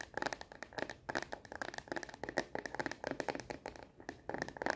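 Long nails tap fast on the back of a solid, hand-sized frosted plastic phone case fitted on a smartphone. The sound is a quick stream of crisp, clicky taps in irregular bursts, with brief pauses near 1 and 4 seconds. Each tap is dry and dies almost instantly, with a light plastic tone in the mids and little low end.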